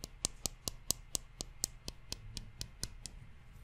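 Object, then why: Wooden chopsticks. A pair of thin, solid wooden chopsticks is held crossed, with one rubbed and scraped along the other by fingertips close to the microphone. Fourteen quick, dry, bright clicks come at a steady, even pace. They sit over a soft, low scraping rustle and stop with no ring.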